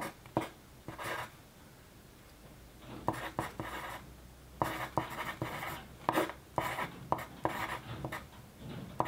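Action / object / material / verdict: scrape / paper sheet under a pencil / paper / none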